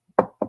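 Two knocks on a wooden desk or table, rapped for luck. Each is a short, hollow, mid-range thud with little low or high content, fading quickly. A faint soft tap comes just before the first knock.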